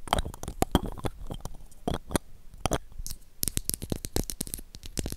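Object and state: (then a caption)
Plastic toy lipstick tube. Long acrylic nails tap rapidly on a small, pink, hollow plastic toy lipstick tube, making quick, dry clicks with a soft, hollow low thump beneath each one. The taps come in uneven bursts, and near the end the tube is opened to show the pink lipstick inside.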